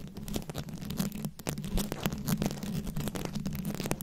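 Very long acrylic nails scratch and tap rapidly on a fist-sized microphone head covered entirely in small round rhinestones, likely plastic, held up close. The result is a dense, continuous stream of crackly, gritty scratches and quick ticking taps with short bright clicks, over a steady low boomy hum around 200 Hz.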